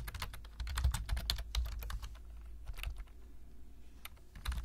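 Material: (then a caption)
Plastic. Fingertips of both hands tap the low-profile keys of a black plastic laptop-style keyboard while typing text. Quick, irregular bright clicks come in bursts over a steady low hum, thinning out briefly before a final flurry of keystrokes.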